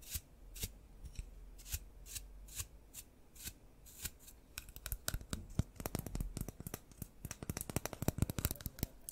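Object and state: Paintbrush bristles flicked.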